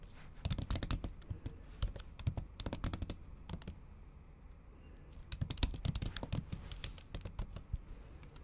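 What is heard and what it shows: Long acrylic nails type in Japanese on a MacBook keyboard under a pink silicone keyboard cover. Quick bursts of soft, muffled key taps mix dull low thuds with sharp, bright clicks. A quieter pause falls around the middle before the typing picks up again.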